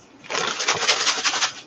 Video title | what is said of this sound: CBS Community Garden - Seed Saving 101 | you can hear the seed rattling at the bottom the seed is heavier so the seed has sunk to the bottom